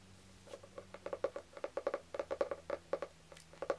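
Fingertips and nails tap the cover of a solid, medium green cloth-bound hardcover book with a gold stamped design. About nineteen quick, soft, dull taps come in an uneven rhythm, each with a mid-pitched knock that dies away almost at once.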